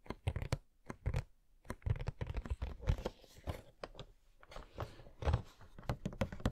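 Fingernails tap and scratch on the back and sides of a hollow cardboard Coca-Cola Funko Pop box with the figure inside. The result is a run of quick, dry, dull taps mixed with short scratchy rubbing; each tap dies away almost at once and carries mostly low, boxy thud with little brightness.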